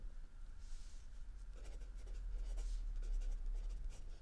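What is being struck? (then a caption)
Pencil on a paper notebook page. A mechanical pencil writes in continuous strokes on a lined page of a spiral notebook resting on a wooden desk. Soft, bright scratching comes in short bursts over a quiet, steady low hum.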